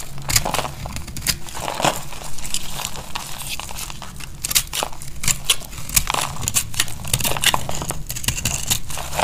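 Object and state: Dry bar soap being cut.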